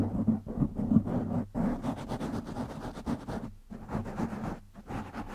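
Fingertips of both hands scratch a black foam windscreen on a silver microphone, producing dense, rumbling, scratchy rustling with a strong low hum. The noise swells and fades in irregular bursts, broken by a few brief near-silent gaps.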